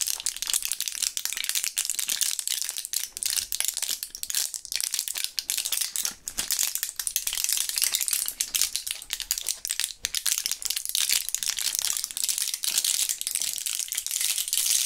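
A full, small flat blister pack of purple Thrills gum pellets, with plastic bubbles and a foil back, is held in gloved fingertips, turned over and shaken so the pellets rattle. The result is a dense, continuous, bright rattling and crinkling with fast clicks and almost no low end.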